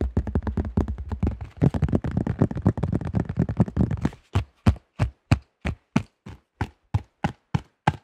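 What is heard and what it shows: A thin, hollow-backed cream and yellow plastic disc golf disc with a stamped logo, about 20 cm across, is held up near the microphone and tapped quickly with the fingertips and nails. For about four seconds the taps come in a dense, rapid flurry. They then slow to separate, evenly spaced taps, each short, dull and bass-heavy with almost no ring.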